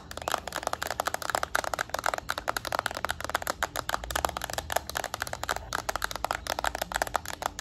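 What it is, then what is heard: Plastic handheld game console. A yellow Nintendo Switch Lite handheld game console is tapped with long nails, first along its edge and then on its plastic back. About forty quick, dry clicks follow one another rapidly, each dying away almost instantly, with a bright mid-range tone around 700 Hz.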